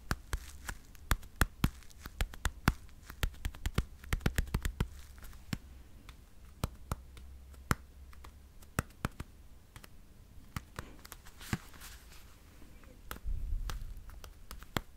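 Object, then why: Plastic over-ear headphones with padded ear cups. Fingertips tap and click on the padded ear cups of dark blue over-ear headphones with hollow plastic shells, held up near the mic. The sharp, dry clicks come in irregular clusters over a steady low hum, with a brief low rumbling swell near the end.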